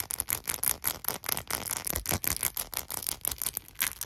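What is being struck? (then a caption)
Faceted glass perfume bottle. Short nails rapidly scratch and tap the faceted diamond-pattern glass of a small hollow cut glass perfume bottle filled with golden liquid and topped with a gold cap. The result is a fast, aggressive stream of bright, dry clicks and scrapes that stop instantly with no ring.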